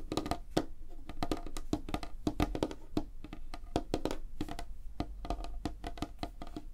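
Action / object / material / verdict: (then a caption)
tap / light wooden tabletop / wood / none. Long fingernails of both hands tap fast across a large, flat, solid light-wood tabletop. The result is a dense stream of short, dry clicks with a hollow woody knock around 316 Hz, each dying away almost instantly, with a quiet low rumble underneath.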